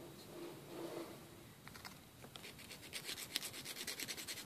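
A thin, flat, solid emery board nail file, held in one hand, is rubbed against the fingernails of the other hand. Faint, soft rubbing gives way to a quick, steady series of bright, dry rasping strokes that grow louder toward the end.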